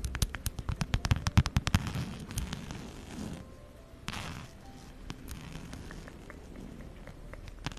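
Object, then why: Zip-around wallet with fabric panels and faux-leather trim. Long acrylic nails tap and scratch a mid-size zip-around wallet with plaid fabric panels and brown faux-leather trim, held close in front of the mic. A quick run of sharp, crackly taps in the first two seconds gives way to softer, low, rustling scratching with scattered light clicks.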